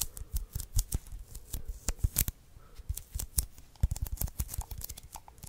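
A small hollow roll of white sticky paper, a lint roller refill, is held in the hands off the microphone while fingertips and nails tap and press its adhesive surface. Dense, short sticky taps and crackling peels come in irregular bursts, dry and close with almost no ring.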